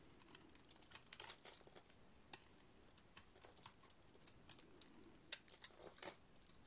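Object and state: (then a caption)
Dry soap bar being shaved. A utility-knife blade shaves a dry, solid yellow soap bar with a painted black surface, producing quiet, repeated bright scraping and crinkly crunching strokes. The short, dry cuts come in irregular bursts, with a few sharper scrapes standing out.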